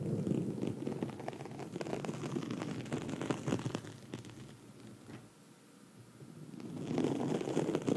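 Long red nails on both hands scratch a black foam microphone windscreen, producing a dense, close-up crackling rustle with a soft low rumble beneath it. The scratching is steady and fairly loud at first, eases to a quieter, thinner scrape around the middle, then swells back to full strength at the end.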